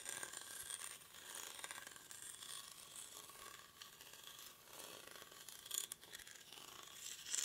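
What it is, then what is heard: Woven rattan basket being scratched. A hollow, cylindrical woven rattan or reed basket, held in both hands close to the mic, is scratched with short fingernails and fingertips along its woven surface. The result is a quiet, dry, bright scratching and crackling with rapid ratchet-like ticks and almost no low end, swelling briefly louder near the end.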